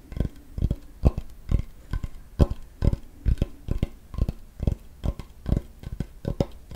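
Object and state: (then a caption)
Wooden cutting board. A large, flat, solid wooden cutting board held close to the microphone is tapped rapidly with fingertips and nails on its flat surface. The taps come in an uneven stream of short, dull, low knocks that die away almost instantly, with faint clicky edges from the nails.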